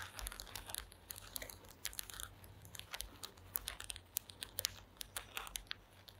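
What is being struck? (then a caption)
Woven wooden slat placemat. Long acrylic nails tap and scratch across a flat woven placemat made of small wooden slats. Quiet, rapid, bright clicks and dry crackling scratches sound over a steady low hum.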